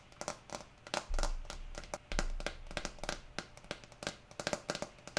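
Long nails tap and scratch the green plastic screw lid of a small amber jar that appears full, making many quick, dry clicks with a short ring around 600 Hz mixed with bright scratching. Two deep low rumbles swell in near the start, and rain hisses steadily in the background.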